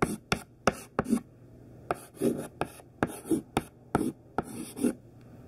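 Thin white classroom chalk, mostly hidden in the fist, writes capital letters on a black chalkboard. A series of short, dry scratching strokes with sharp taps at each stroke start, separated by brief quiet gaps.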